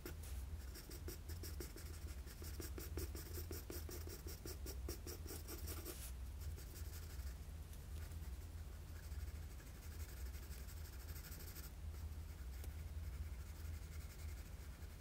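A graphite pencil with a blue end scratches short shading strokes near the nose of a drawing on a flat sheet of drawing paper, heard close up. Quick, rhythmic, bright scratching strokes fill the first six seconds, then soften into a steadier, lighter scratching over a constant low hum.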